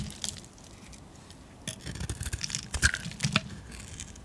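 A metal blade carves thick curls off a solid white painted soap bar held in the palm. Quiet at first, then a run of close, dry scraping and cutting strokes with brief crisp snaps after about 1.6 seconds, with bright, short clicks over a low rumble.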